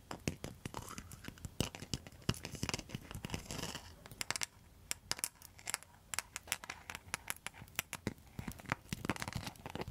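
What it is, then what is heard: Rattan and mosaic coaster. Long metal nail tips scratch and tap a round rattan and mosaic coaster. Dense, rapid, sharp clicks and taps mix with bright, dry scratchy rasps, with the heaviest scraping in the first few seconds. Each tap stops almost at once, with no ring.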